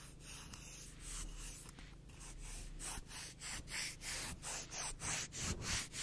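Long nails scratch and rub the gritty abrasive face of a black emery board nail file, producing a bright, dry, sandpapery hiss. A steady stretch of continuous rubbing gives way to about seven quick, rhythmic rasping strokes, all over a faint low hum.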